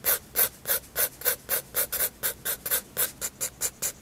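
A 7B graphite pencil sketches on a white paper sketchbook page in long and short strokes, rubbing and scratching across it. Sixteen quick, bright strokes sound in a steady run of rasping scrapes, each with a high hiss and a softer mid-range scratch.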